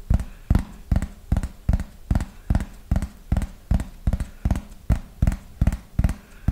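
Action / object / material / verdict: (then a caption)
tap / thin plastic flying disc / plastic / none. Fingernails tap the surface of a thin yellow plastic frisbee held to the side, making a slow, steady run of 18 short, dull taps. Each tap is a brief low thump that dies away almost at once, with quiet gaps between them.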